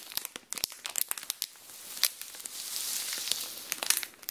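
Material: Plastic film.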